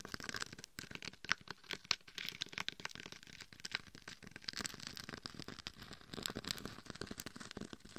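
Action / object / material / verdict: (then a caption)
scrape / glitter-covered dummy head microphone scratched with long acrylic nails / glitter / none. Long red and gold acrylic nails scratch and tap the gold and red chunky glitter covering a life-size binaural dummy head microphone, held between both hands, working around the face and the sides near the ears. Dense, crackly scratching and quick sharp taps sound bright and crinkly, with little low end. Since the head is the microphone itself, the sound is close and intimate.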